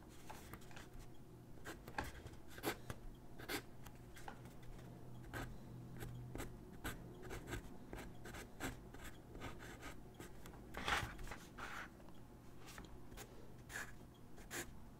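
A graphite pencil scratches across a single white paper sheet lying on a wooden desk in short gesture-drawing strokes. Quiet, dry, bright scratches come in quick bursts with brief pauses, each dying away almost at once over a steady low hum.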